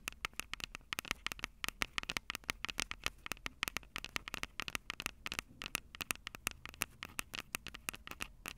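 Long purple acrylic nails tap and scratch the two metal-grilled microphone capsules of a Tascam DR-05 handheld recorder with a plastic body. About fifty quick, dry, bright clicks come in an irregular patter over a faint scratchy hiss. Each tap dies away almost instantly.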